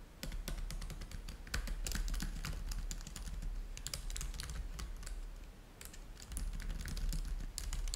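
Both hands type continuously with fingertips on the plastic keys of a black laptop keyboard. Quick, irregular clicks come in bursts, each bright and short, over a steady low rumble beneath.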